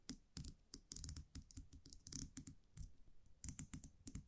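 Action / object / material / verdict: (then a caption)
tap / wire champagne cage with metal cap / metal / none. A small wire champagne cork cage with a round metal cap, held in the fingers, is tapped and scratched on its cap with long nails. The result is a quiet, rapid series of short, dry clicks, each with a soft low thump and a bright metallic tick that dies away almost at once.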